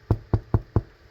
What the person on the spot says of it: It sounds hollow. I believe we have a perfect loaf.